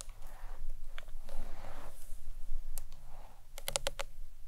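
Long nails tap the front face and the ends of a hollow green marbled acrylic box clutch. Soft scratchy rustles come first, then a quick run of sharp, bright clicks near the end, all over a low, steady hum.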